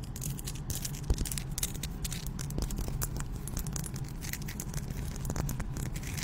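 Long pink nails scratch and tap a hand-sized, solid pink Himalayan salt rock held close to the microphone. A steady, low, gritty rasp runs throughout, dotted with bright, crackly ticks and a few sharper taps.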